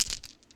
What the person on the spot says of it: let me shake this bag. Can you hear that? Can you hear that? I got dice.